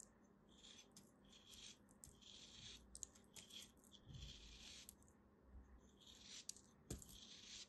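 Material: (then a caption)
Kinetic sand. A green block of solid kinetic sand, held between fingers with long dark nails, is sliced with a small black blade. The cuts give soft, gritty, crunchy scraping in bursts, bright and hissy, with brief crisp ticks and a faint low rumble beneath.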